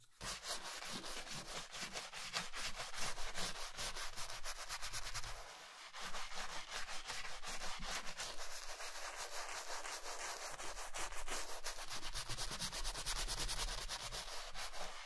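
A wooden bristle brush scrubs the toe and side of a worn black leather Chelsea boot covered in foam. Steady, rapid rubbing strokes make a dense, bright scratchy sound over a low rumble, easing briefly about halfway before resuming.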